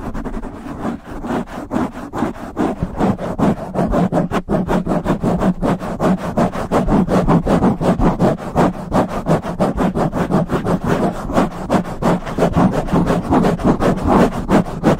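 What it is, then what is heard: Foam microphone windscreen. Fingertips and nails of both hands scratch and rub a black foam windscreen fitted over a silver microphone. The result is a dense, muffled stream of rhythmic rubbing and scratching strokes, about three per second, with a low, boomy rumble and little brightness.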